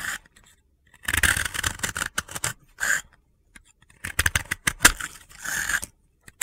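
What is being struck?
Soap ball scraped with a utility blade.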